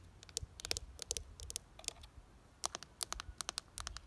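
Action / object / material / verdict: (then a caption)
tap / ribbed plastic flower planter / plastic / none. Long dark nails tap and scratch the ribbed side of a pink-red plastic window planter box, hollow and filled with soil and geraniums. Quick, dry, bright clicks come in uneven bursts with faint scratchy texture between them, each hit stopping almost instantly with no ring.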